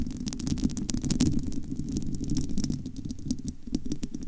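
Long almond-shaped nails scratch and tap on the bare, domed metal wire-mesh grille of a large, hollow studio microphone. A dense, muffled low rumble fills the clip, broken by rapid, short, bright ticks of the nails on the mesh that die away almost immediately.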